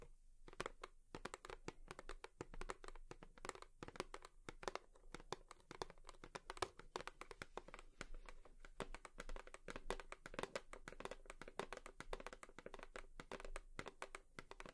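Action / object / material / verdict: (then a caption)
tap / cardboard tissue box / cardboard / none. Long nails tap rapidly and continuously on a cardboard tissue box for about fifteen seconds. The many quiet, dry clicks die away almost instantly, carrying a faint hollow tone in the low-mid range beneath a bright, crisp edge.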